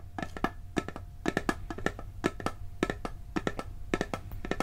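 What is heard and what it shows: A hollow, round blue steel cookie tin is tapped on its lid and side with fingertips and nails, giving quick clusters of short, dry, woody-sounding knocks. Each tap has a hollow tone around 367 Hz with a brief bright edge and dies away almost at once, over a faint steady low hum.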